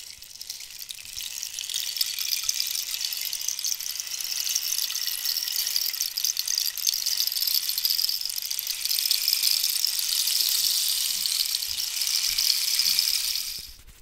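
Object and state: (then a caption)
Cactus wood rainstick. A hollow cactus-wood rainstick held low and diagonally while long nails scratch and tap its surface. The result is a continuous, bright, hissing rain-like rattle concentrated in the high range, rising slightly in the middle before cutting off near the end.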